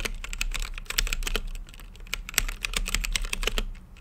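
Fingertips type continuously on a mechanical keyboard with plastic keycaps set in a translucent acrylic case. The result is a rapid, uneven stream of short, sharp, bright clacks that stop instantly with no ring, over a steady low hum.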